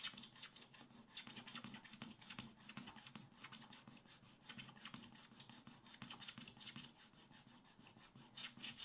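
A wooden stylus scrapes the black coating of a scratch-art book page in dense, fast strokes over the lower-right area of the coated paper. The result is a quiet, continuous, bright raspy scratching centered around 3 kHz, with quick overlapping strokes and almost no low end.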